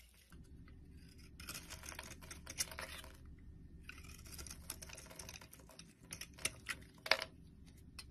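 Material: Soap.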